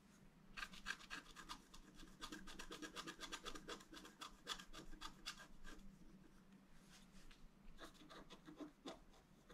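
A wooden stylus scratches and rubs across a thin, solid, flat black wax-coated scratch-art paper card. The result is a quiet run of quick, uneven rasping strokes with a bright, papery edge, about four per second, over a faint steady low hum. A few short pauses break up the strokes.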